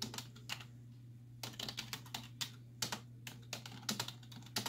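Long nails and fingertips tap rapidly on the hollow keys of a black plastic computer keyboard resting on a wooden desk. The sharp, bright clicks come in quick, uneven bursts separated by short pauses, each dying away almost instantly over a steady low hum.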